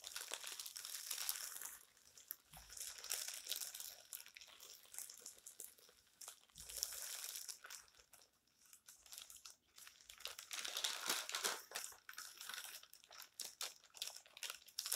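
Palms and fingertips press and rub the thin, crumpled newsprint text pages of an open magazine, then turn them. Dense, bright crinkling and crunching comes in louder bursts with quieter, softer rustles between them, and almost no low end.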